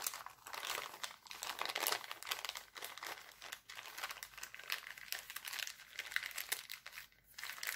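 Hands roll and crinkle an empty, thin, clear heart-printed cellophane bag. It makes a dense, continuous, bright crackling rustle that swells and dips in waves, with no low end and a short sharper crinkle near the end.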